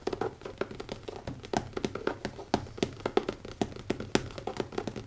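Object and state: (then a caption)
Leather notebook cover. Fast fingertip tapping on the cover of a new leather notebook. Quick, dry taps with almost no ring follow one another in a steady rush, each a soft muted thud centered in the low-mid range around 380 Hz with little high brightness.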